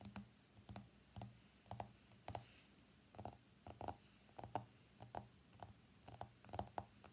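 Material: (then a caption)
Glass. Fingernails of both hands tap the glass screen of an iPhone X lying face up on a mat, producing 21 quiet, short, dry clicks at an irregular pace. Each tap has a brief mid-pitched tick near 730 Hz that dies away almost instantly, over a faint steady low hum.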